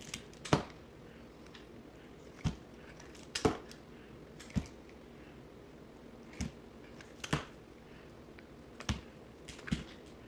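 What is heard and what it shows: A box cutter blade scrapes and slices pieces off a solid yellow bar of soap held in the hand, sped up to double speed. About eight sharp, crisp cuts stand out, each a short bright crackle that fades quickly over a low, steady background hiss.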